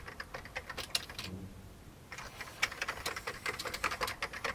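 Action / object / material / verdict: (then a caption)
tap / plastic computer keyboard / plastic / none. One hand types with its fingertips on an old beige plastic computer keyboard, producing quick, bright, irregular key clicks. The typing pauses for about a second in the middle, leaving a faint low hum, then resumes with busier clicking to the end.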